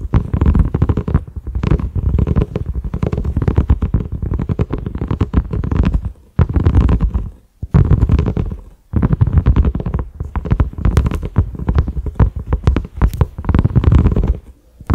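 A large, flat, cream silicone pot lid with raised concentric ridges and a black grooved center knob, resting on a dark surface, is tapped rapidly with the fingertips and short nails of both hands. It makes dense, soft, muffled thuds that are deep and low, with very short decay. The tapping runs in quick continuous bursts separated by a few brief pauses.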